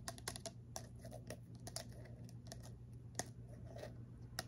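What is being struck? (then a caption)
Glass bottle with screw cap. Long fingernails tap and scratch a tall, narrow clear glass bottle with a silver screw cap, held in the hand and containing some liquid and small objects. Quick, dry, clicky taps with almost no ring are mixed with brief scratching, over a steady low hum.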